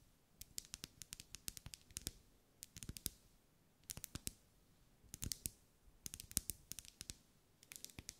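Long light-grey nails tap on the sides of a lit, solid, medium-size pink ribbed wax pillar candle held in one hand. The taps are quick, crisp and bright, with almost no ring, and they come in rapid bursts separated by short pauses.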